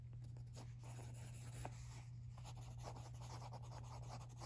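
A pencil scratches across the page of an open lined paper notebook resting on carpet while writing, as a hand with long nails holds the right page steady. Soft, continuous scratchy strokes with brief brighter bursts sit over a steady low hum throughout.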